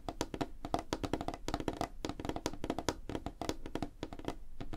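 Fingertips and nails of both hands tap fast across a flat, solid, light wooden tabletop. The result is a dense, irregular run of short, dry knocks with a woody tone around 300 Hz, a low thud beneath, and faint clicky edges from the nails. Each tap dies away almost instantly.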